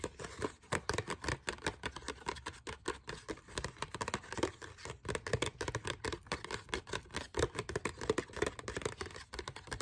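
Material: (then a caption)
Coated paper. A small, thin, folded glossy paper card printed with a forest picture and the words "First Things First" is held in both hands and scratched and rubbed with long dark fingernails, while other papers on the table stay untouched. A rapid, dense run of short, dry scratching and crinkling bursts fills the clip, with a mid-range crackle and a faint bright edge.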